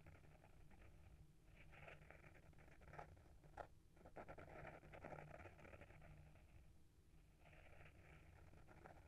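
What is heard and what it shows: Short fingernails scratch the front cover of a small, solid hardcover book with a paper-wrapped board cover, held in the hand. The result is a quiet, steady, dry scratching patter with soft rustly texture centered around 580 Hz over a low background rumble. It has a few slightly sharper strokes near the middle, then eases briefly before resuming.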